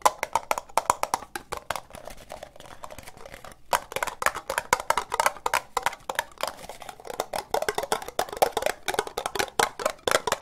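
Long nails tap quickly on the sides and base of a hollow, empty orange ribbed plastic cup. The result is a rapid stream of dry, clicky taps centred around 1 kHz, each dying away almost instantly. The tapping softens briefly in the middle before picking back up.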